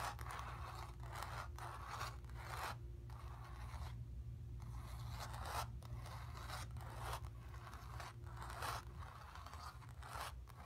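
Long pink nails scratch the painted surface of a stretched cotton canvas in a series of dry, raspy strokes, each with a brief pause between. A steady low hum runs underneath the whole time.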